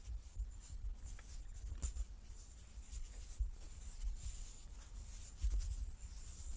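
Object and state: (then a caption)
Wooden die being handled. Fingertips and nails rub and slide over the faces of a large, solid light-wood die with dark pips as it turns in both palms. The result is a quiet, continuous soft scratching with brief bright scraping streaks over a low, muffled rumble, broken by a few slightly louder dull bumps.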